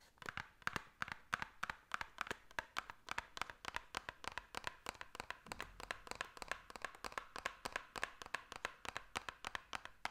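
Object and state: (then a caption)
Hollow ridged cardboard box. Long nails scratch along the ridges of a small, hollow white ridged cardboard box and tap on its surface. The result is a quiet, rapid, uneven series of about fifty dry, sharp clicks and scrapes, centred in the midrange with a bright edge and almost no low end.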